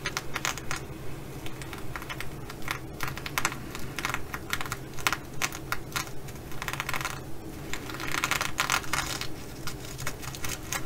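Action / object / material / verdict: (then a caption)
scrape / fabric bag covered in plastic flip sequins / plastic sequins / none. Long glittery acrylic nails scratch and tap a flat, hollow, soft reversible fabric bag covered in blue and bronze plastic flip sequins. It makes a quick, irregular patter of crisp, dry clicks and rustling scrapes, with brighter bursts of scratching near the end, over a steady low background hum.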